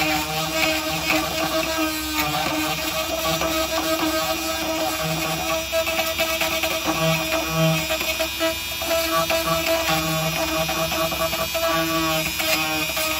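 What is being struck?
Nothing is struck.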